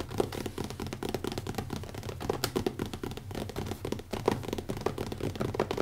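Fingertips tap quickly and lightly scratch the cover of a small, closed, black leather-covered hardcover notebook with an elastic band, resting on a wooden table. The result is a dense stream of soft, dull taps with a muffled low-mid body, little brightness and almost no ring, mixed with faint scratchy rustling.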